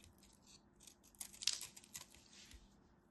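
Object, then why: Solid bar soap. A solid white scored bar of soap is cut with a craft knife blade, and crumbly chips break off. Quiet, bright scraping and crackling comes in short bursts, with about five sharper snaps, the loudest near the middle of the clip.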